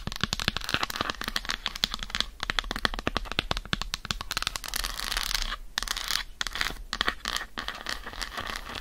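Long acrylic nails rapidly tap and scratch across the squares of an unwrapped solid dark chocolate bar held in the hand. The result is a dense stream of crisp, bright clicks and scrapes that die away almost instantly, with brief quieter pauses between bursts.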